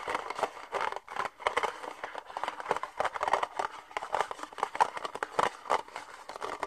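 An empty, hollow, thin red plastic party cup is held in both hands while fingernails tap and scratch its outer wall and the cup is lightly squeezed. The result is a rapid string of dry, crackly clicks and scrapes centered around 1 kHz, with almost no low end and no ring after each tap.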